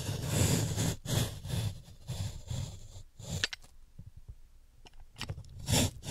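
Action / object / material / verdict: scrape / chalk block scraped with a metal peeler / chalk / none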